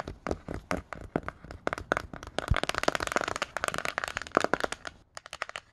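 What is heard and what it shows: Fingertips and nails fitted with plastic-coated paperclips rapidly tap and scratch the glossy cardboard cover of a "Myths" hardcover picture book. Dense, dry clicks and scrapes sound in quick succession with no ring, building in intensity through the middle. After a brief pause near the end, a few final taps follow.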